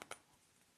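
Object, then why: Selenite crystal point. Three light, quick taps on a selenite crystal point, a birthday gift regarded as a cleansing crystal. Two taps come close together, then a third after a short quiet pause. Each is a soft, bright clink with almost no low end that dies away almost at once.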